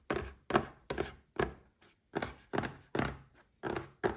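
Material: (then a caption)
Cardboard. A small red cardboard gift box standing upright is tapped with fingertips and short nails, making a series of dull, hollow thunks at an uneven pace. Each tap is short with almost no ring, with a mid-range body around 355 Hz and little high-end brightness.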